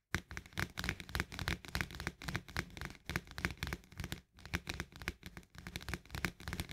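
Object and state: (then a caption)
Plastic lid of a paperboard canister. Fingertips and long nails of both hands tap and scratch quickly around the rim and surface of a green plastic lid on top of a paperboard barley canister. A rapid, uneven patter of dull, low thuds mixes with crisp clicks and scratchy rustling. Each tap dies away almost instantly.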